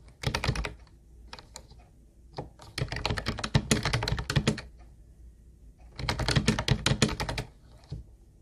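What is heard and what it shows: Fingertips of both hands type on a hollow teal plastic Ubotie keyboard with round white plastic keys. Three bursts of rapid, clacky keystrokes, separated by short pauses and a few lone taps, each carry a hollow low thump under bright click tops that die away almost instantly.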